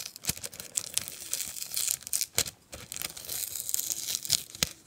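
A medium brown kraft paper herbal tea bag with a round sticker label, held upright and appearing filled with dried herbs, has its sticker peeled at by fingertips while the paper surface is rubbed and scratched. The result is dry, bright crinkling and scratching paper sounds with sharp, brief snaps scattered throughout and almost no low end.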